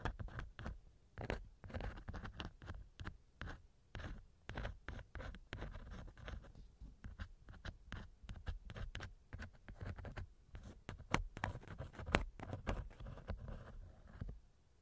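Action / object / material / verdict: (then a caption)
scrape / silicone ear model scratched by a wooden earpick / silicone / none. A thin wooden earpick scratches inside the right ear canal of a small hollow silicone ear model mounted on a binaural microphone. Close, muffled scratching and rubbing come in a rapid, uneven run of short strokes, weighted toward low, dull tones with brief brighter clicks and almost no ring after each stroke.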